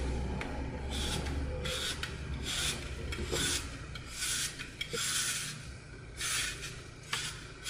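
A red-gold glitter-coated floral foam block is held in hand while its green foam edges are sliced off with a utility knife. Repeated bright, crunchy, rasping cuts come in irregular bursts over a low rumbling background.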